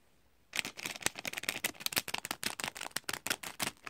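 Thin clear cellophane gift wrap, stretched over a heart-patterned gift in a pink zippered bag, is crinkled and squeezed by fingertips. After a brief quiet moment, a rapid series of sharp, bright crackles and snaps follows, dense in high frequencies with almost no low end.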